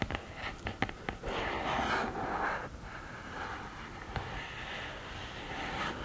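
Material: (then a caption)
Cardboard. Long painted nails tap and scratch the textured lid of a black glittery cardboard eyeshadow palette, its lid standing upright and open. A cluster of quick, dry taps opens the clip, followed by a louder, hissing scratch across the rough surface. Softer, steady scratching continues, broken by one more sharp tap.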